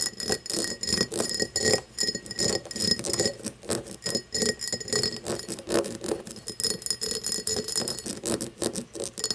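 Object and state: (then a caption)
Cut glass tumbler. Long painted nails tap and scratch the facets of an empty, hollow cut-crystal tumbler with a star pattern, lying on its side on a wooden table. Rapid, bright clicking taps mix with scratchy friction in uneven bursts. Each tap dies almost at once, leaving only a faint glassy ring around 2 kHz and higher.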